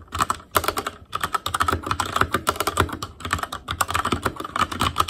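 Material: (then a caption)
Plastic. Fingertips type continuously on an Asus Claymore Core backlit mechanical keyboard with plastic keycaps. Quick, sharp clicks and clacks come in bursts with short pauses, each keystroke snapping off almost at once with a bright, plasticky tone.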